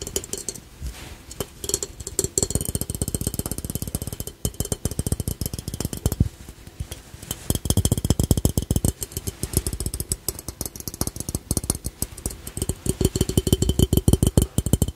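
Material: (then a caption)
Ceramic. A small, hollow, glossy red-and-black ceramic ladybug piggy bank with a coin slot is held in both hands and tapped on its shell with fingertips and short nails. Rapid, dense bursts of short, dry taps come with little ring, mostly low and hollow-toned, with some brighter clicks from the nails.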